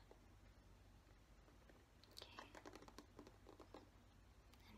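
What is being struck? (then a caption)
Plastic paddle hairbrush. A black plastic paddle hairbrush is held in hand while fingertips and nails tap and scratch its back and bristles. After a quiet stretch with a low steady hum, a cluster of soft, quick taps and bright scratchy clicks begins about halfway through. The sounds stay gentle and close.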